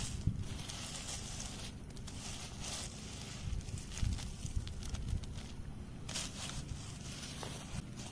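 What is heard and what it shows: Fingertips and medium-length nails scratch and tap across a ground bed of dry, loose shredded wood chip mulch with a few dry leaves mixed in. The result is a steady crackly rustling over a low, soft rumble, with bright crunchy scrapes and a few sharper taps standing out near the middle of the clip.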